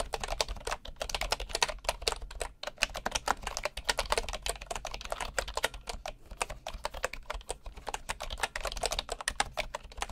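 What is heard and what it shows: Right-hand fingertips press the keys of a bamboo wooden computer keyboard in steady, fast typing. Each keystroke is a short, dry clack with a bright edge, and the clacks run densely for the whole clip over a faint low rumble.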